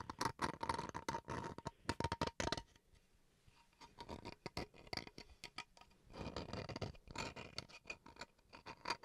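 Fingernails scratch the grained face of a small, solid bamboo wood chopping board held upright. Dense bursts of dry, raspy scratching with a bright edge and a faint tone near 920 Hz fill the start, ease into softer, sparser strokes midway, then build again into steady scratching toward the end.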